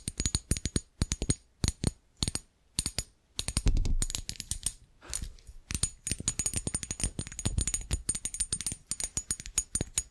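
A small, glossy, green-glazed ceramic Christmas tree figurine, about hand height and likely hollow, is held in one hand and tapped with the tips of long acrylic nails on its ridged glazed tiers. Quick bursts of sharp, clicky taps with a bright, glassy ring come in short clusters separated by brief pauses, then run together into denser, faster tapping with some low handling rumble. Each tap dies away quickly.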